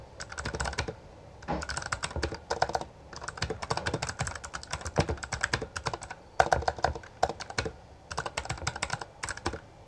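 Both hands type continuously with their fingertips on a Bloody B820R full-size black plastic mechanical gaming keyboard with backlit keycaps and a hollow housing, pressing and striking the keys. Rapid bursts of sharp, bright clacks with a hollow low thud beneath them come in quick runs separated by brief pauses. Each keystroke decays almost instantly.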